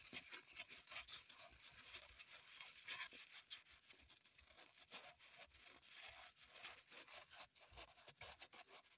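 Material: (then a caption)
Floral foam. A small solid green floral foam block on a table is dug into and scratched with long pointed acrylic nails, and crumbs fall onto the table. Soft, dry, crumbly scratching and scraping sounds with many quick, bright crackles repeat throughout, quiet and mostly high-pitched with almost no low end.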